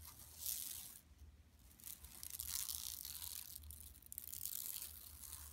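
Long nails scratch across the printed surface of a large, flat, empty yellow woven plastic mesh tote bag lying on carpet. The result is a quiet, bright, hissy scratching in irregular bursts with a crisp, papery rasp. A faint low hum runs steadily underneath.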